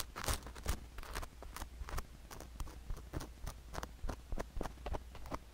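A thin wooden stick scratches and pokes near the canal of a sugar-coated silicone ear microphone in rapid strokes. The result is a string of crisp, crunchy, bright ticks over a steady low hum.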